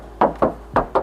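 Four knocks on the steel side body panel of a used 2024 Daihatsu Sigra R automatic, each a short, hollow mid-pitched tap around 560 Hz that dies away within about a tenth of a second. The panel is original sheet metal with no filler, smooth and in good condition.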